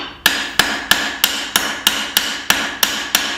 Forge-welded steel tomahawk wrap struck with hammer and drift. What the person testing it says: this sounds solid and it feels solid